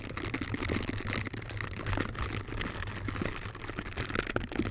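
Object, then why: Silicone gloves with bristle pads. Pink silicone scrubber gloves with bristle pads on the fingers, held close, as the gloved fingers brush and rub against each other. Soft, continuous bristly scratching and rubbing rises and falls over a steady low hum.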